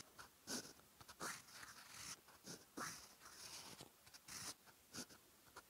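A silver steel fountain pen nib writes Japanese text in orange ink on a lined cream paper notebook page. Soft, bright, dry scratches come in irregular bursts and short strokes, with quiet pauses between them.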